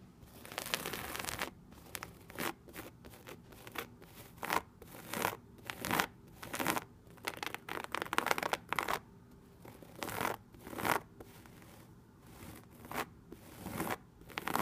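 Long red nails and fingertips scratch and tap a beige embossed swirl-pattern textured vinyl wallpaper on a solid wall. Quiet, dry bursts of bright, hissy scraping alternate with short, crisp taps in an irregular rhythm. Each sound stops almost instantly with no ring.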